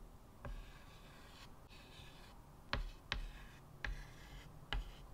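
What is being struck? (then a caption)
Chalk on a wood-framed chalkboard. A short piece of white chalk held in the fingertips is dragged across a flat blackboard set in a wooden frame, making rubbing, scratching line strokes. Five sharp taps of chalk on the board stand out, with a soft, bright, rasping scrape between them over a low background hum.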